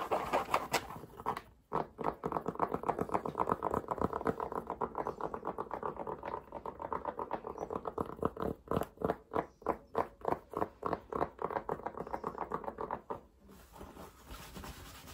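Fingertips tap and scratch the crown and brim of a light green cotton baseball cap with a patch, worn on the head. Fast, uneven bursts of soft, muffled fabric taps and rustling scratches sit mostly in the low-mid range. The sound breaks off briefly near the start and again near the end.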